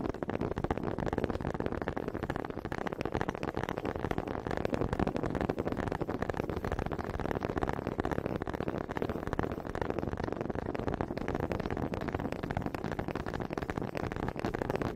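Two small solid wooden honey dippers with grooved heads, held in both hands with long red nails, are knocked together in front of the mic. The result is a dense, steady stream of rapid, dry wooden clacks and taps with no ring, full in the low-mid range with little brightness, lasting the whole clip at an even level.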